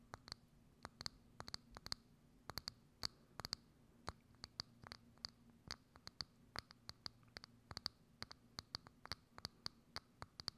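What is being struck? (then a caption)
Thin plastic dome lid. Long acrylic nails tap and scratch the outer surface of a hollow, thin, clear plastic dome lid with a small knob on top, set over a microphone. About forty sharp, bright clicks land in an uneven rhythm, each ringing briefly with a high tone and dying away almost instantly. A faint low hum runs underneath the whole time.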